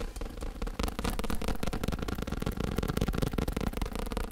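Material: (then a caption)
Faux leather. Fingertips and nails tap rapidly on the padded surface of a black fake leather elbow rest standing upright. The result is a fast, continuous stream of dull, low, padded thumps with very little ring.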